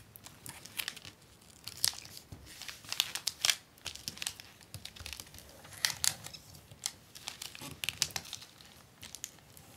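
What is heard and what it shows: A long, flat, folded strip of clear acetate book-cover film with a paper backing lies on a desk while both hands, with long nails, rub, press and tap across the plastic surface along the fold. The result is a steady stream of bright, crisp crinkling and crackling, with many sharp, quickly fading clicks and almost no low end.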